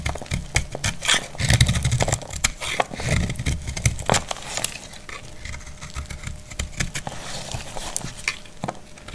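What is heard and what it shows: A solid, dried white soap bar held in the hand is scraped and cut with a metal utility blade, and white flakes fall off. Dense, crisp scraping and clicking is heard over low, dull thumps, loudest in the first half before settling into quieter, finer scraping.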